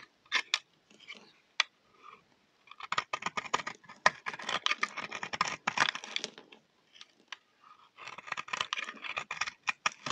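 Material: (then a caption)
Soap. A solid, dry yellow bar of soap with brown patches is held in the hand and scraped with a utility knife blade. Quick, dry, crisp scraping and crunching strokes come in bursts with short pauses between them. The sound is bright, with little low end and almost no ring after each stroke.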